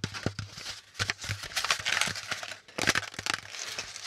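Fingertips and nails tap and scratch an empty, hand-sized brown kraft corrugated cardboard packaging insert with pleated, hollow compartments as it is handled and crinkled. Quick, dry taps with almost no ring mix with bright, papery scratching and crinkling, all at a fairly quiet level.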